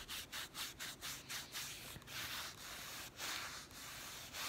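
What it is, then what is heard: Plastic instant camera being rubbed and scratched. Fingertips and medium-length nails rub and scratch across the body and lens ring of a hollow, handheld yellow plastic Instax Mini instant camera. The result is a quick run of bright, hissy scraping strokes with brief dips between them, followed by longer, steadier rubs with little low-end weight.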